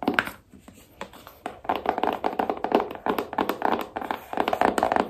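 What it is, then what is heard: Cardboard phone box, hollow. Long nails tap the sides and lid of a small, hollow black cardboard iPhone box. A quick, irregular run of dry, hollow taps sits mostly in the mid range, with almost no low end and very little ring. A quieter stretch early on leads into busier, denser tapping.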